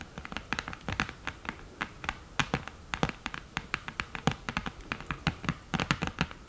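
Long nails tap rapidly and scratch across the mirror and lid of an open, flat cream cardboard eyeshadow palette. The result is a quick string of short, dry clicks with bright, crisp tips and a soft, hollow low thump beneath, over a faint scratchy hiss. Each tap dies away almost instantly.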